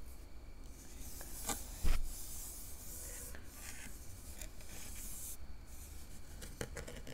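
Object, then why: Metal mesh microphone grille. Long nails on both hands scratch across the surface of a round, hollow metal mesh microphone grille. The result is a steady, soft rasping and scraping with bright, hissy streaks over a low, dull rumble, plus a sharper scrape near the two-second mark and another toward the end.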